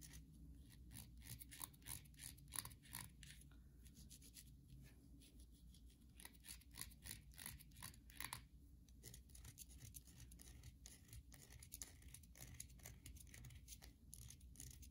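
Long nails repeatedly scratch the surface of a solid white bar of soap held in the hands. The result is a rapid series of short, dry, crackly scrapes over a faint, steady low hum.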